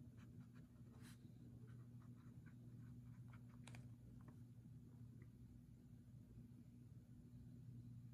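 A fountain pen nib writes continuously on a paper page of a leather-covered journal lying flat on a wooden table, while the other hand holds the page down. Soft, scattered scratching strokes rise above a steady low hum.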